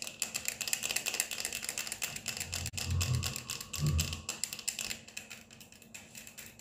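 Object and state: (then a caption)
Plastic sunglasses. Quick, uneven clicking taps from long nails tapping rapidly on the frames and mirrored lenses of black plastic-framed sunglasses worn on the face. The taps are sharp and bright, with a low, muffled rumble swelling underneath in the middle of the clip before the light clicking continues and fades slightly.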